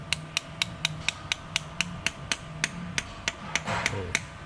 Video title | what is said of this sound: Astra vxr valve stem seals install and piper valve springs head refresh part 1 | You can hear the tone change. So it's sort of seated flat. That's it. It won't go anymore.